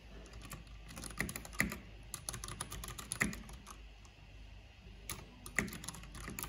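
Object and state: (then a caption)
Plastic mechanical computer keyboard. Fingertips with long painted nails type on a black plastic backlit mechanical keyboard with hollow plastic keycaps. The result is a steady run of quick, bright clicks and hollow clacks, each dying away almost at once, with a soft low thump under the louder presses.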